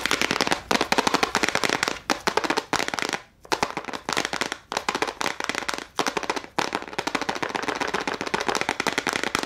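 A small clear plastic case full of gel crayons is held up and tapped rapidly with long nails on both hands. Dense bursts of sharp, bright plastic clicks crackle almost continuously, broken by a few brief pauses. Each tap dies away almost instantly.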